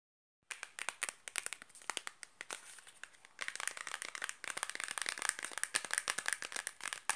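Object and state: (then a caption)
Cardboard soap box. A small, closed, rectangular cardboard box of Granado sulfur soap, hollow with a bar inside, is tapped and scratched quickly with long black-painted nails. After a brief silence, a rapid stream of dry, crisp, bright clicks mixes with crinkly scratching, growing denser and louder about halfway through. Each tap stops almost instantly, with no ring.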